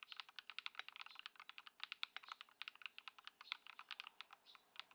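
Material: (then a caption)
Plastic. A modded white Ducky One 2 SF mechanical keyboard, fitted with Poron foam and swapped switches, with plastic keycaps, sits on a dark mat on a wooden desk while the fingertips of both hands type on it continuously. Dozens of quick, crisp clacks follow one another at a steady pace. Each keystroke is bright and short with almost no low end or ring.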